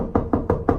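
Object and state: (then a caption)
Solid chimney flue enclosure wall. Four knocks on the wall enclosing a chimney flue inside a house closet, each a short, dull thud with a woody midrange tone and almost no ring. The enclosure sounds solid, and the flue runs up through the whole house, including the kitchen and basement.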